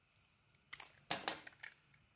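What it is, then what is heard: Bar of soap being scraped. A metal blade scrapes and cuts slices off a pink dotted solid bar of soap, now mostly white where it has been shaved, held in the hand. About five quiet, dry, crisp scrapes and shaves are heard, bright and papery, with almost no low end and no ring.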